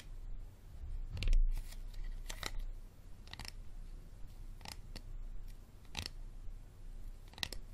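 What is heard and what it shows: Fingernails tap and scratch the label area of an empty, hollow, clear plastic Dasani water bottle with a green cap, held upright. Short, bright clicky taps and brief scratches cut sharply and fade quickly over a steady low rumble.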